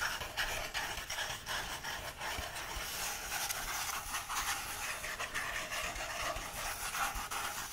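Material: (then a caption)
Paper. Fingertips rub and brush over the printed paper pages of an open book. A steady, dry, hissy rustling fills the clip, mostly in the upper frequencies, with faint repeated swishes as the fingers stroke back and forth across the paper.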